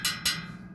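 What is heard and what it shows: A steel bicycle spoke is plucked twice, giving two bright, short metallic pings that fade within a fraction of a second. This looser spoke sounds different from a tight one, which suggests it has lower tension.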